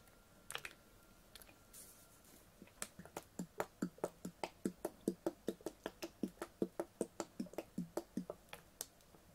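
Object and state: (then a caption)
Full plastic water bottle. Fingernails tap on a clear, ribbed PET water bottle with a blue cap, full of water. A few scattered taps come in the first two seconds, then a steady, quick run of sharp, bright clicks follows, each with a short, hollow mid-range thump underneath. The taps stay quiet and die away almost at once.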